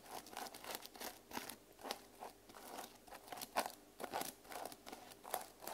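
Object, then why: Plastic sequin cover on a hardcover journal. A small hardcover journal with a reversible plastic sequin cover is held in both hands while fingernails scratch and brush across the sequins. Quiet, crisp, crunchy rustling comes in quick bursts with a bright sparkle on top and almost no low end, each stroke dying away at once.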